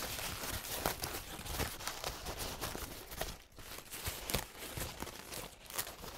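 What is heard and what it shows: A crumpled, purple paint-stained paper towel is squeezed and unfolded in both hands, making crunchy, dry crinkling. The rustle runs almost continuously, with sharper bright crackles scattered throughout and a brief quieter moment near the middle.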